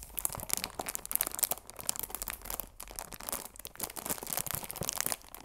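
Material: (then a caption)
Plastic film. A chamomile tea box of cardboard wrapped in clear plastic film is turned at an angle in the hands while fingertips and long nails rub and crinkle the film. Dense, bright crackling and crinkling runs throughout, with quick sharp snaps rising and falling in loudness and little low-end body.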